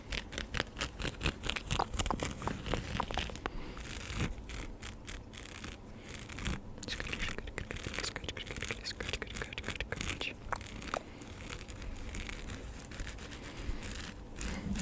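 Fingertips grip, scratch and rub the woven brim and crown of a light, hollow, wide-brimmed woven straw sun hat worn on the head, close to a fluffy-covered microphone. Dense, rapid dry scratching and crinkling rustles form a continuous stream, with a strong low rumble and bright, crackly texture on top.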